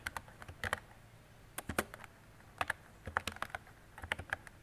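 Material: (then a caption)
Plastic. A mint-green retro mechanical keyboard with round plastic keycaps and a hollow body is typed on with fingertips and long decorated nails. About twenty short, sharp plastic clicks come in uneven bursts with brief pauses between them. Each tap has a bright clack that stops almost at once.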